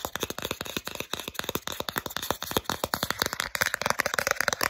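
Long acrylic nails quickly tap and scratch the solid back side of a small, flat plastic Starbucks gift card. The result is a fast, dense string of sharp, dry clicks with very short decay, centred around 550 Hz with bright scratchy edges. The clicks grow busier and brighter toward the end.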